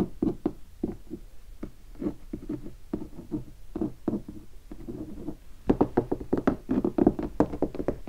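Fingertips and short nails tap a large, hollow guitar hard case standing upright, covered in black leatherette (tolex) and vinyl stickers. The quick, dull, hollow knocks resonate low around 300 Hz and stop almost at once. Scattered irregular taps give way after about 5.7 seconds to a denser, louder flurry.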